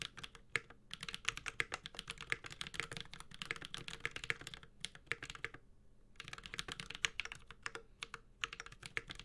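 Continuous typing with the fingertips of both hands on a 65% metal-case mechanical keyboard with ABS plastic keycaps produces rapid, bright, crisp clicks with very short decay. The keystrokes run in dense bursts with brief pauses around 5 and 6 seconds.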